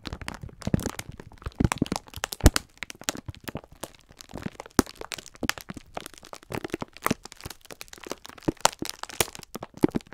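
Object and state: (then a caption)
Plastic-wrapped pack of sponge scourers. A pack of sponge scourers wrapped in clear plastic film is held in both hands while the fingertips squeeze and rub it, crinkling the plastic. The result is a continuous run of quick, irregular crackles and crunches with soft low thumps underneath, each sharp and dry with no ring.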